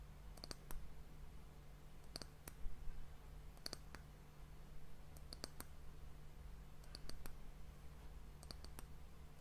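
The round, solid, polished dark wooden disc cap at the end of an hourglass is tapped with long nails and fingertips. Short, dry, bright clicks come in quick little clusters every second and a half or so, each dying away almost instantly. A steady low hum sits underneath throughout.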